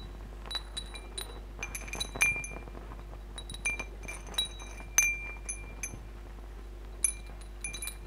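Fingers push and strum the hollow metal tubes of a hanging wind chime with glass crystal beads, so the tubes clink against each other and the beads. The bright, high clinks come in irregular bursts over a faint steady low hum, each ringing briefly before fading.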